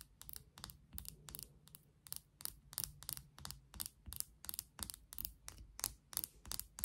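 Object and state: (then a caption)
Plastic toothbrush handle. Long nails tap and scratch along the handle of a pink and clear plastic toothbrush, making a quick, irregular run of quiet, dry clicks and scratchy strokes. Each tap is bright and crisp and dies away instantly, with a faint low rumble underneath.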